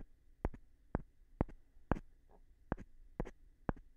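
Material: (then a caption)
Wood. A light-colored, palm-sized solid wooden block is held in one hand and tapped on its face with a small rough stone held in the other. Seven short, dry taps sound at a loose, uneven pace, some with a quick secondary click, each dying away almost at once over a faint low hum.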